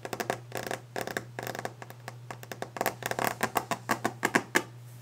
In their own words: Sounds: Fast/Aggressive Tapping and Scratching a Wooden Desk! ASMR